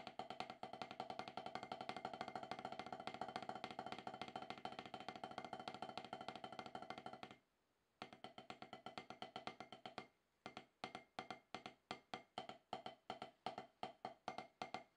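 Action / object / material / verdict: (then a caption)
strike / rubber drum practice pad struck with wooden sticks / rubber / none. Two wooden drumsticks tap on a solid, octagonal HQ snare practice pad with a dark rubber surface. A fast, dense run of dry, woody taps with a short ring lasts about seven seconds, then breaks off for a moment. The playing picks back up as steady strokes and ends in spaced-out, evenly timed groups of taps.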